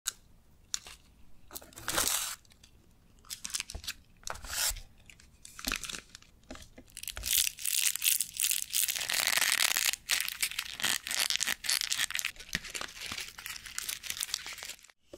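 Long manicured nails scratch and tap the sides of a large, hollow, green printed cardboard display box for miniature fruit toys, possibly with a glossy wrap, held upright in both hands. Bright, crinkly scratching comes in irregular bursts with quick taps between them. The sound grows denser and louder through the middle and stays busy until it stops abruptly near the end.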